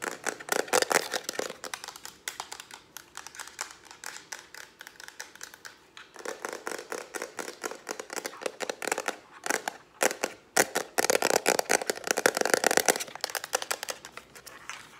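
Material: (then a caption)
Plastic. Long, dark-painted nails fast-tap a small, hollow lavender plastic Instax-style instant camera with a wrist strap, held in both hands. The result is a rapid stream of dry, bright plastic clicks with almost no low end, each dying away at once. The taps come in bursts with brief pauses and grow denser and louder toward the end.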